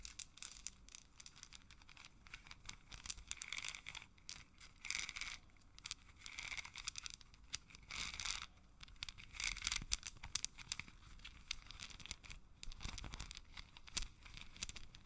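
A long strand of small, solid, round wooden beads is held in both hands while fingers roll and rub the beads together so they click against each other. The result is a quiet, continuous patter of dense, bright clicks and dry rustling, swelling in short bursts with no ring after each click.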